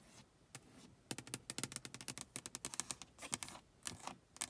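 Long acrylic nails tap and scratch on the closed glass side window of a car, with rain droplets on the outside of the pane. A quick, uneven run of sharp, bright clicks comes through, each dying away almost at once, with light scratching in between.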